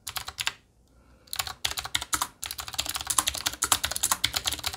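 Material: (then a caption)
Metal, plastic. Both hands type with their fingertips on a desk-sized, solid Qwerkywriter typewriter-style mechanical keyboard with a black metal body and round chrome-rimmed plastic keycaps. Quick, bright clicking keystrokes come in bursts with a short pause near the start, and each click stops almost at once. The tapping then picks up into steady, continuous typing.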